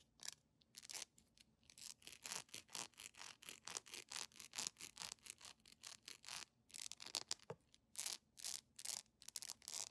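A small, solid, yellow cylindrical beeswax pillar candle with a honeycomb texture is held in both hands and scratched and rubbed with long painted nails. The result is a rapid, uneven run of short, bright, hissy scratching strokes, about two per second, with almost no low end.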